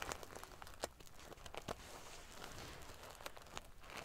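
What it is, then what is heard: Metal sequin-covered pillow. Fingernails scratch and ruffle the small metal pieces on a silver metal paillette sequin-covered pillow. Quiet, dry crinkling and scratchy rustling is broken by sharp, bright clicks and ticks as the metal pieces shift against each other.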